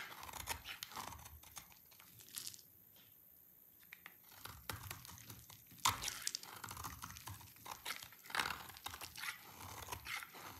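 A utility knife blade scrapes a solid, dry yellow bar of soap, pushing crunchy shavings off onto a pile. Dense, bright crunching and scratching bursts come in quick runs, with a quieter lull around the third and fourth seconds and a sharper, louder scrape near the sixth second.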